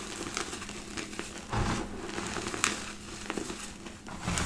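Hands press into a pile of crushed white gym chalk powder in a black bowl, then gather and squeeze large clumps between fingers and palms. Soft, grainy crunching and crinkling with bright crackles fills the clip, with a few louder squeezes standing out from the steady texture.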